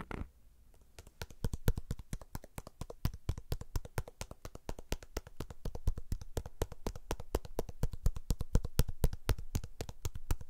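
A whole red pomegranate, fist-sized and solid, is held in one hand near the microphone and tapped with the fingertips of the other hand. It gives a fast, uneven run of dull, low, thumping taps that stop short with almost no ring, after a brief soft rustle at the start.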